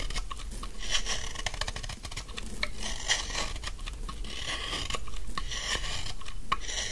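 A large, solid, dry pink bar of soap is held in the hand and scraped with a utility knife blade, shaving off thin curls. Dense, gritty scraping and crisp rasping ticks run continuously, with bright, crackly strokes over a low, steady rumble.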